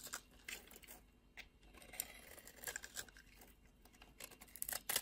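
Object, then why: Bar of soap. A solid beige bar of soap held in the hand has its dry surface scraped and shaved with a utility knife blade, peeling off thin curls. Quiet, bright, crisp scraping and crackling strokes come in short bursts, with the loudest cuts near the end.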